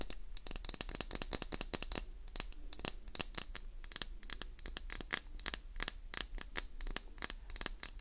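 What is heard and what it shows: Long nails scratch quickly along the surface of a solid green glycerin soap bar held in one hand. Dense, rapid dry scrapes and clicks with bright crackling edges repeat steadily over a faint low hum, each stroke dying away at once.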